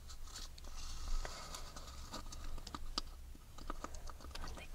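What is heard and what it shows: Long red fingernails tap and scratch the textured surface of a small, empty, hollow wafer ice cream cone held in the fingers. The result is a string of quick, dry, bright clicks and scratchy rustling over a steady low hum.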